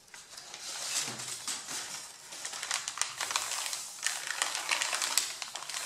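Fingertips and nails scratch and rub the top sheet of a stack of A4 printer paper with ink drawings. The result is a steady, dry, bright rustling with quick, irregular scratchy bursts and almost no low end.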